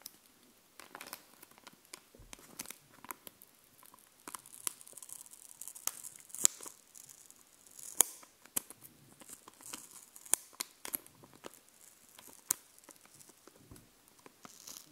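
A thin paper sheet of glossy Scooby-Doo stickers, held in one hand, is scratched and tapped with long painted nails. The result is quiet, bright, papery crinkling and scratching, broken by sharp, short clicking taps at an uneven pace with almost no low end.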